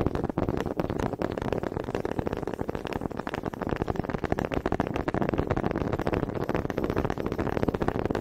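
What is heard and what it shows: Two small solid wooden honey dippers with grooved heads, held in both hands with long red nails, are knocked together in front of the microphone. The result is a fast, steady stream of dry, woody clicks and rattles, mostly in the low-mid range, with no ring after each tap.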